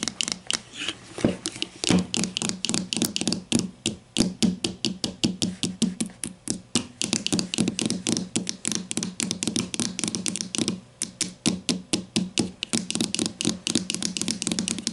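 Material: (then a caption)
Plastic. Long nails tap rapidly on the hollow plastic casing of a grey plastic deodorant stick lying flat on a table, label side up. About seventy quick, uneven taps sound over 15 seconds, each a bright click over a hollow low knock that dies away almost at once.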